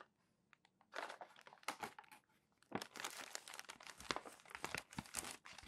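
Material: Paper.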